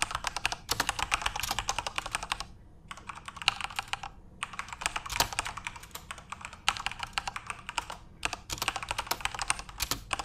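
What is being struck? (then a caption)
Plastic mechanical keyboard. Both hands type rapidly with their fingertips on a full-size Corsair RGB-backlit mechanical keyboard with plastic keycaps. The result is a dense stream of bright, sharp clicks that die away almost instantly, broken by a few brief pauses around 2.5, 4, and 8 seconds.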